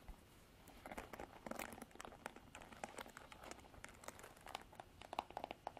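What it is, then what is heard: Plastic paddle hairbrush. Long nails scratch and flick the black plastic bristles of a Revlon plastic paddle hairbrush held upright. Quiet, bright scratchy crackling runs throughout, broken by many quick dry clicks and ticks. Small tinny plinks around 840 Hz surface near the end.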